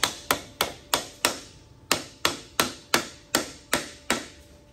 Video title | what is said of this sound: How to Replace Transfer Case Seals in Late Model GM 4X4 | You can hear a change in the sound once it's fully seated.